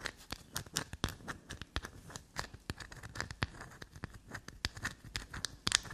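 A small solid black soap bar held in the hand is scraped and dug into along its shaved surface with long black nails. The result is a rapid run of dry, crackly scratches and short clicks, bright and crisp with little low end, each dying away almost instantly.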